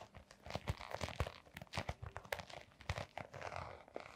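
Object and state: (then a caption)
Canvas sneaker with rubber sole. A small canvas sneaker with a white rubber rim and brown textured sole is held in gloved hands while long painted nails scratch across the sole. The result is a quiet, rapid run of crunchy, crinkling scrapes and soft thunks, with dull low thumps beneath bright scratchy detail.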